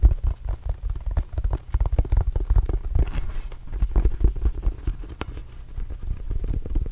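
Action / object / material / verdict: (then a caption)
tap / small inflated rubber basketball / rubber / none. A small red and blue Arizona Wildcats rubber basketball, hollow and inflated, is held close to the microphone and tapped with the fingertips of both hands. The result is a rapid, continuous patter of soft, deep, hollow thumps that die away almost instantly and sit mostly in the low bass.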